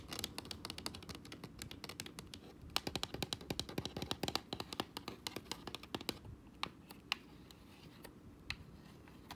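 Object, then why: Plastic game controller shell and buttons. Fingertips and nails tap the shell of a hollow white plastic Xbox controller and click its face buttons and thumbstick. A rapid run of dry, bright plastic clicks and taps with no ring fills the first six seconds, then thins to scattered single clicks over a faint low background.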